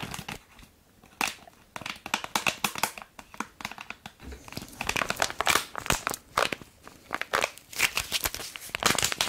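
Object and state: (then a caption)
Plastic foil sachet crinkled and tapped. A small, red printed "punch of wishes" bath foam sachet made of plastic foil, which appears filled, is held up close and tapped and scratched with long acrylic nails. The result is a rapid run of bright, crinkly crackles and scratchy taps with almost no low end, starting after a brief quiet moment and carrying on in dense bursts.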